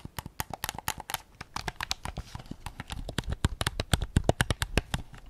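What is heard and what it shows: Fingertips and short nails tap the back and grips of a white PS5 DualSense controller with a hollow hard plastic shell, held up in both hands. A quick, irregular run of short, dry clicks and hollow knocks follows, each with a bright tick over a low thud and almost no ring. The taps grow somewhat louder toward the end.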